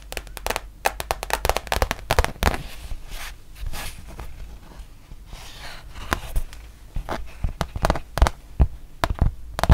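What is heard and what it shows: A thin, solid, printed rubber-backed fabric mouse pad is held close and tapped along its surface and edge with long nails. The result is an irregular run of short, dry taps and clicks with a dull low body and almost no ring, with soft scratchy rustling between the quicker bursts.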